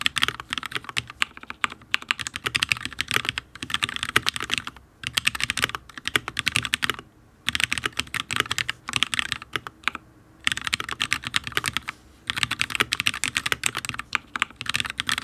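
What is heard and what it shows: Fingertips of both hands type rapid, repeated taps on a full-size HyperX Alloy Origins RGB mechanical keyboard with Fire switches and ABS keycaps on a steel plate. The crisp, bright clicks are dense and short, with little low end and a few brief pauses between bursts. The board sounds solid.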